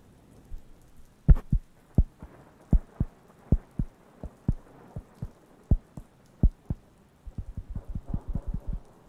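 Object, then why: Thin round wooden coaster. A round, flat, thin, solid wooden (cork-like) coaster held near the microphones is tapped and scratched with fingertips. Short, dull, low knocks land at irregular intervals over a faint scratchy rustle, then quicken into a rapid flurry of light taps at the end.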